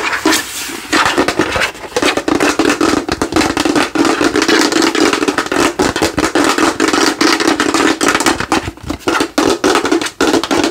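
Long nails and fingertips tap and scratch quickly across the cranium and face of a hand-sized, hollow, translucent plastic Halloween skull lamp glowing orange, held up close. The result is a dense, fast stream of clicky taps and bright, crackly scrapes over a steady hollow plastic resonance around 320 Hz, with little low end.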